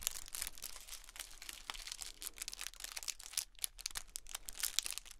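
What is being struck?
Metallic foil pom poms.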